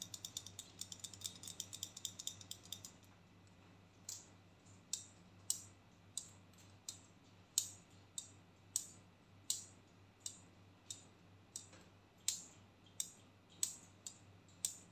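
A pink and black plastic hair clip with a spring mechanism is clicked and snapped by hand. A quick run of bright, dry clicks fills the first three seconds, then sharper single snaps follow at a steady, slower pace, each dying away almost at once over a faint low hum.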